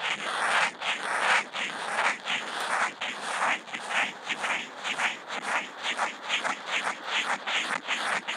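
The felt tip of a Posca marker draws small looping spirals on a flat white sheet of Kent paper, picked up by a contact mic on the marker. It makes a steady run of dry, scratchy swishes that rise and fall with each loop, bright and papery, centered around 2 kHz with almost no low end. The strokes quicken and shorten toward the end.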